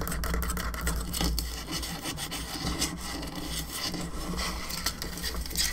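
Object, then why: Plastic skull lamp. Long nails scratch across the top of the cranium of a hollow plastic skull candelabra lamp, around its central socket. The result is a steady, dry scraping rasp with bright hissy streaks and quick ticks, over a constant low hum.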